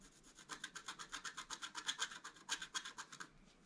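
A wooden stylus scratches the top flowers on a flat, black-coated scratch art paper card. After a soft start, about 21 quick, dry, rasping strokes follow in an uneven rhythm, bright and hissy with almost no low end. The strokes fade out near the end.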